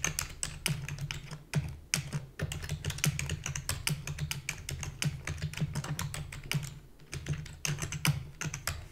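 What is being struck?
Plastic computer keyboard.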